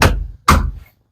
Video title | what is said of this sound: PUMA 155 AND A MASSEY FERGESON 7495 GETTING NEW TRACTOR TIRES | This tire is solid down here at the bottom.